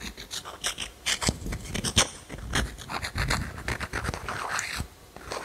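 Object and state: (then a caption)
Small stone scratched with fingernails. A small, solid grey pebble is held in the fingers close to the mic and scratched with long manicured nails. The result is a run of short, dry, uneven scraping strokes with bright, gritty clicks and a faint low rumble beneath.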